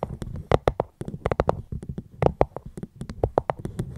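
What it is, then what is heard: Fruit box. Close-up tapping on a fruit box held at the microphone, a quick run of short, dry taps with a hollow, low-mid body and brief bright clicks. The taps come in uneven bursts, each dying away almost instantly.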